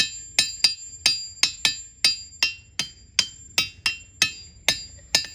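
A metal hammer strikes a large solid diabase boulder (a ringing rock) in a boulder field, the rock beside where a person sits. Fourteen sharp knocks at an uneven pace each ring with a bright, bell-like metallic tone, pitched high with a fainter tone. Each ping fades quickly before the next strike.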